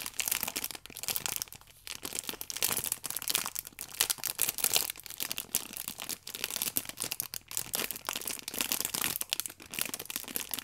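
A clear plastic wrap around an orange pack of paper baking powder sachets, held flat, is pressed and rubbed with fingertips and long nails. The result is a continuous, bright crinkling of the film with dense, crisp crackles and almost no low end. Short bursts come and go in waves throughout.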